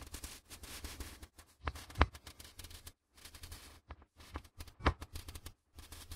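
Gloved fingertips repeatedly flick and riffle the edges of a small stack of white A4 printer paper sheets held near the microphones. The result is rapid, dry, crackling snaps in dense bursts separated by brief silences, over a low rumble. A few sharper, louder snaps stand out.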